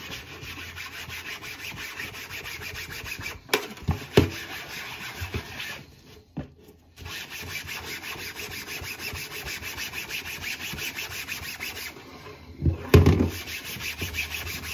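A gloved hand scrubs a solid, flat white-beige plastic cutting board back and forth with a wet yellow-green sponge while holding it in a metal sink. The result is a steady, fast, rasping rub with a low body and a bright hiss on top. A brief pause comes around the middle, and a few louder clunks sound near the start and end.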